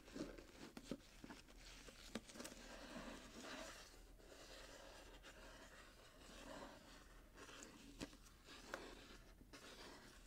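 Fingertips and short nails scratch across the gold glitter-striped wrapping paper of a small, closed, hollow cardboard box with a satin bow, held in the hands. A quiet, steady scratchy crinkling runs throughout, with a few brief sharp ticks standing out above it.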